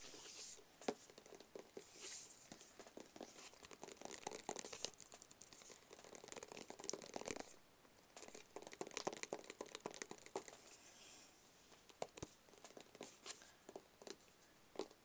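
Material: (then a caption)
Cardboard. A small, hollow, rigid black cardboard box is held in the hand and tapped with fingertips and nails. The result is a quiet, steady stream of quick, dry taps and sharp nail clicks with scratchy, papery rustling between them, and almost no low end. Each tap dies away almost instantly.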